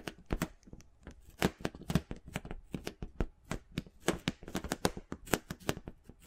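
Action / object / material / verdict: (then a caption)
scrape / large inflated rubber ball / rubber / none. A large, hollow, inflated pink rubber or vinyl ball about 20 cm across is held against the microphone and scratched and rubbed with fingertips and nails. The result is a rapid, irregular run of dry, scratchy strokes, each a sharp bright crackle over a soft low thump that dies away almost instantly.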